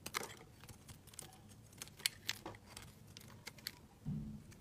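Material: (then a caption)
Soap. A utility knife blade shaves curls and chunks off a solid white bar of soap held in the hand, making a series of short, crisp, bright scraping clicks over quiet background noise. Near the end, a brief low hum rises under the scraping.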